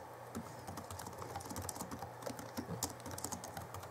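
Both hands type rapidly with their fingertips on the plastic keys of the backlit chiclet keyboard of a 2011 Alienware M11x (M11x2) laptop. Quick, short, clicky taps with bright edges follow one another closely over a steady low hum.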